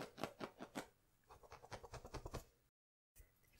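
Fingertips and nails scratch and rub the fuzzy surface of a pair of medium-sized, hollow, padded cow-head slippers made of soft stuffed plush polyester fabric, held up close. The result is a quiet series of short, dry scratching strokes with a soft rustly mid-range texture, first spaced out, then quicker. A brief silence follows, then a faint scrape and rustle.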